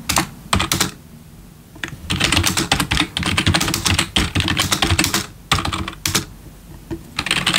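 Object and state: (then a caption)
Plastic keyboard being typed on. A full-size black plastic membrane gaming keyboard with RGB backlit keys, resting on a wooden desk, is typed on with the bare fingertips of both hands. Bursts of rapid, bright plastic key taps with low thuds underneath are separated by short quiet pauses, and each tap dies away quickly.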